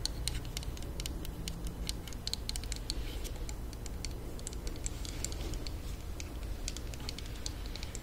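A small, hollow, pink plastic mini hair straightener (flat iron), held up, is tapped rapidly with long nails. The result is a steady patter of quick, sharp, high-pitched plastic clicks over a low, constant background hum.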